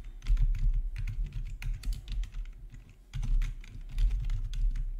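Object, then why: Plastic computer keyboard. Fingertips type steadily on a full-size black plastic RGB backlit gaming keyboard with a hollow housing, resting on a marble surface. The rapid keystrokes make deep, hollow thocks with bright clicky edges. The typing briefly pauses around the three-second mark before resuming.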